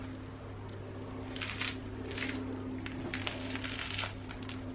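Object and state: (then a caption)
Crisp-crusted bread rolls. A freshly baked ciriolette, a Roman bread roll, is squeezed in a crunch test: after a quiet start, bursts of dry, crackling crunch come from its crust over a steady low hum. The test passes, showing the crust is crisp and the rolls are well baked.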